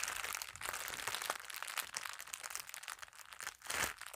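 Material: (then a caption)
Plastic. An empty, thin clear plastic packaging sleeve is held in both hands and crinkled, rubbed and rolled with fingertips and long nails. It makes a steady stream of bright, crisp crackles with almost no low end. A louder rustling swell comes near the end.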